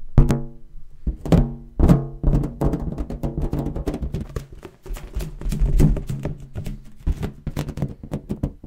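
A large, hollow, air-filled blue latex balloon, inflated and held against the mic, is tapped with fingertips and nails. A rapid, uneven series of short, dull thunks rings out, each with a booming low resonance and almost no high end.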